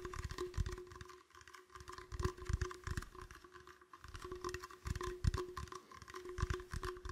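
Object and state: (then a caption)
Empty plastic bottle. An empty, clear, hollow plastic bottle held sideways is tapped with fingertips and nails in irregular slow and quicker runs. The taps are soft, dull, hollow thuds, mostly low in pitch, with short clicky edges and almost no ring. A faint steady tone hums underneath throughout.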